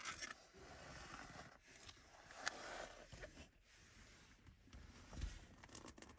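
Long nails and fingertips scratch and rub the diamond-tread surface of a black rubber rear floor mat with a Mercedes logo, lying flat and solid on the carpet of a Mercedes 200 classic car. The sound is a quiet, continuous dry scraping and rasping with bright, airy texture, broken by a few sharper scratchy accents.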